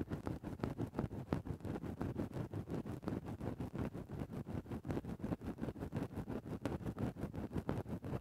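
A thin bamboo ear-pick tip rapidly scratches one spot on a grey faux-fur microphone windscreen. About 33 short, muffled scratching strokes come in a dense, slightly uneven rhythm of roughly three per second. The sound is a soft, low rustling thump with no bright edge.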